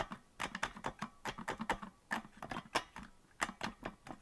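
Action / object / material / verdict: tap / plastic melodica keys / plastic / none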